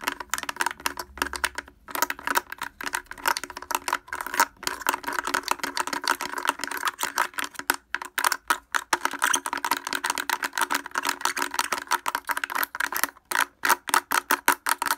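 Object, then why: Plastic speaker housing. Fingers wearing wooden clothespins rapidly tap the front of a blue plastic portable speaker with a hollow housing and grille. The result is a dense, fast stream of short, dry clacks and rattles with a hollow midrange tone around 945 Hz. Each tap dies away almost instantly, with a few brief pauses between bursts.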